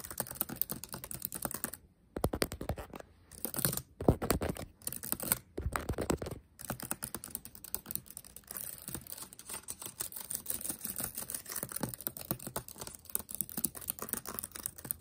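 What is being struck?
Plastic laptop keyboard keys.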